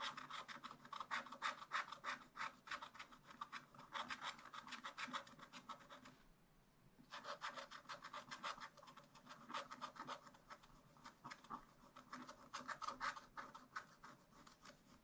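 A wooden stylus held in the fingertips scratches lines into the black wax-coated surface of a scratch-art page in a small spiral-bound pad lying on a table, near a raccoon drawing. Quick, steady scratching strokes make a dry, raspy, mid-to-bright rubbing sound, with a short pause around six seconds before the strokes resume.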